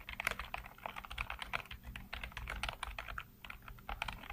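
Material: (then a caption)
Plastic. Fingertips rapidly tap and type on the hollow keycaps of a full-size black plastic computer keyboard. The result is a quick, uneven stream of sharp, bright plastic clicks that die away almost instantly, over a faint, steady low hum.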